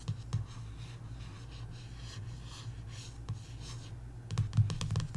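Long nails trace across the glossy paperback back cover of a coloring book and tap on it. A soft, steady scratchy rubbing runs over a low hum, with a few light taps early on and a quick cluster of sharper taps near the end.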